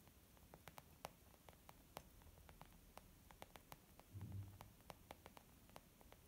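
Fingertips and nails of both hands tap quickly on a white textured leather zip pouch used as a makeup bag, making a fast stream of soft, dry clicks with short bright ticks. A brief low thump-like rumble rises midway, and the tapping stays quiet and evenly paced over a faint hiss.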